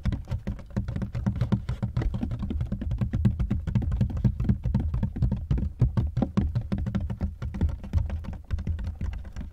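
Fast fingertips tap on both ribbed sides of a large black hard-shell plastic suitcase, which is hollow and partly unzipped. The result is a rapid, dense patter of short, hollow, low thuds that die away almost instantly.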